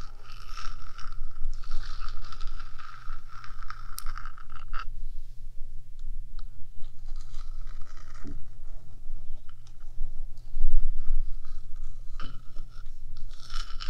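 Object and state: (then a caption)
Metal microphone body scratched with nails. Long nails, mostly on one hand, scratch across the top and front edge of the small, hollow, rectangular metal box body of a 3Dio binaural microphone. It makes a dense, continuous run of scraping and crunchy rasping with bright edges, over a steady low hum. Louder, harsher scrapes come near the end.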